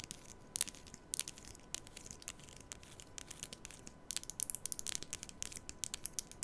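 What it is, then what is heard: Plastic comb strummed. Long nails rapidly strum the teeth of a black plastic comb held diagonally near the mic. The result is a quiet run of bright, crisp, dry ticking and crackling bursts that grow denser toward the end, over a faint steady tone.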